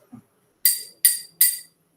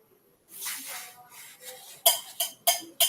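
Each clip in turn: First: drinking glass struck, rings. Second: aluminium milk can struck.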